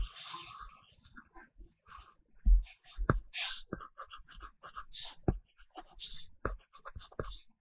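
A stylus tip in a pink case is rubbed and scratched across an iPad glass screen covered with a matte paper-texture film while shading. Soft scratchy strokes come with low taps and bright hissing swipes, in short bursts with brief pauses between them.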